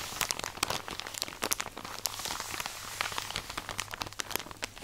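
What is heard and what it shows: A tall, soft plastic drawstring package full of cotton pads is squeezed and scratched with long nails close to the mic. The result is dense, bright crinkling and crunching, with quick, sharp scratchy clicks spread over a steady crackle and a faint low hum underneath.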